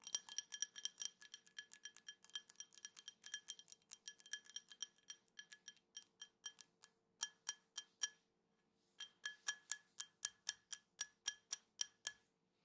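A drinking glass is tapped repeatedly, giving a steady run of dozens of short, bright clinks with a clear glassy ring. The taps come quickly at first, then more spaced out, with a brief pause about two-thirds of the way through before they resume.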